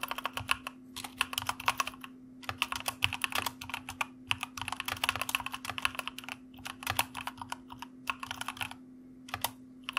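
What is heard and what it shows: Fingertips of both hands type on a white mechanical computer keyboard with plastic keycaps. Dense runs of sharp, bright clicks come in bursts separated by short pauses. Each click dies away almost instantly over a faint steady low hum.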